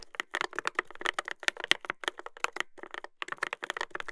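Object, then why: Mechanical keyboard with plastic keycaps and metal plate. Fingertips type continuously on a Dolphin 2021 mechanical keyboard with a brass plate and plastic keycaps. A rapid, uneven stream of crisp, bright clacks follows, each dying away almost instantly, centred around 2 kHz with very little low end. There are brief pauses around the middle of the run.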